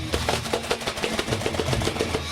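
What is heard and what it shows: A cold yellow, white, black and red cardboard box, nine by seven by two and a quarter inches and weighing 1174 grams, holding a no-name frozen meat lasagna, is shaken. A quick, steady run of dull, low thumps with papery rustle is heard as the frozen block knocks inside the box.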